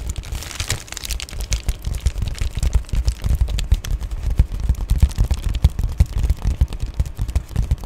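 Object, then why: Padded plastic bubble mailer. Long painted nails tap and scratch the white, bubbly back side of an Amazon Prime padded poly bubble mailer. The result is a dense, continuous run of soft, dull thumps and crinkly scratching, heavy in low-end thud with only faint bright rustle, and each tap dies away almost instantly.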